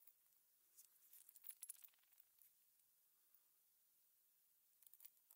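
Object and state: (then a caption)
Metal cover-button backs. A gloved hand pokes and nudges a pile of small hollow silver metal cover-button backs with shanks using a thin metal pin on a blue plastic cutting mat. The pieces give off quiet, bright, high clinks and light scrapes in scattered clusters, busiest early on and again at the end. Every tick is extremely short and dry, with almost nothing in the low range.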